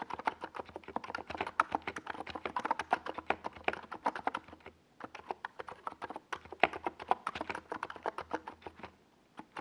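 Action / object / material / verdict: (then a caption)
tap / plastic mechanical keyboard with tall plastic keycaps / plastic / none. Fingertips of both hands type on a compact 68-key NiZ Plum Atom 68 plastic mechanical keyboard with a white plastic case and tall purple and yellow Domikey Gas Attack SA plastic keycaps, resting on a desk pad. The result is a quick, steady stream of short, crisp, midrange key taps that die away almost at once, with a brief lull near the middle and a slowing toward the end.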